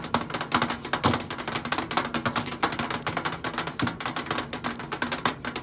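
Long acrylic nails tap and scratch the flat brushed stainless steel side panel of a hollow, boxy countertop microwave. Rapid, dry clicking taps with a bright metallic edge overlap a continuous scraping texture. A faint low hum runs underneath throughout.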